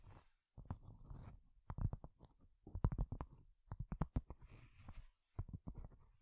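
A cork surface is tapped with long fingernails, producing quick, dull, low-pitched taps in irregular bursts with short pauses between them. Soft scratchy rustling fills the gaps between the taps.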